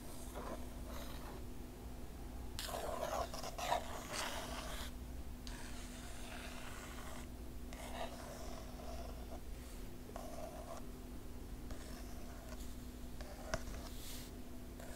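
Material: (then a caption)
Glossy paper. Long nails scratch and trace over the glossy paper of the right page in a large, open hardcover art book. The result is quiet, irregular bursts of dry, bright scraping, with a steady low hum underneath throughout.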